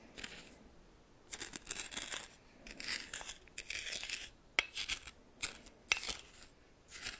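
A red plastic spoon stirs and lifts coarse salt in a small bowl. Bursts of bright, gritty crunching and rustling come and go, with sharp granular clicks scattered between them and almost no low end.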